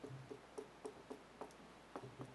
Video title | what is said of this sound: Marvel X-men Sideshow Apocalypse EX premium format figure statue | the statue is really hollow. It's egg shell.